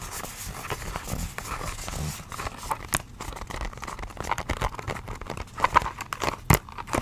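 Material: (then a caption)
Cardboard. Long acrylic nails tap and scratch across the faces of a small, hollow, printed pink-and-white cardboard box of nose pore strips. The result is a steady stream of dry scratching and quick, crisp clicks with very little ring, and a few sharper, louder taps near the end.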